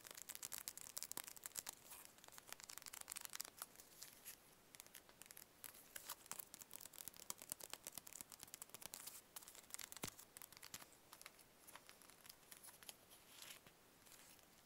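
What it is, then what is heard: Cardboard playing card box. A small, hollow, printed cardboard playing-card box, likely holding cards, is held in both hands close to the mic and tapped and scratched with fingertips and nails. The result is a quiet, dense stream of crisp, bright clicks and papery scratches with almost no low end, easing slightly toward the end.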